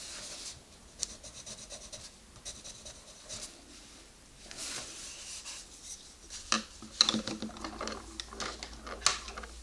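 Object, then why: Wooden colored pencil on a paper coloring-book page. A green wooden colored pencil is rubbed and scratched across a page of an open paper coloring book, lying flat on a table, while coloring a rabbit illustration. Soft, bright, papery strokes come in uneven bursts, with a few sharper scratches near the end.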